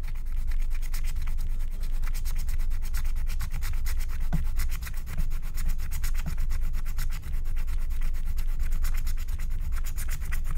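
A wooden stylus scrapes the coating of a flat, thin, black wax-coated paper scratch-art card in dense, sanding-like strokes. The result is a steady, rapid rasping texture with a bright edge over a low hum, broken only by brief dips around the five- and seven-second marks.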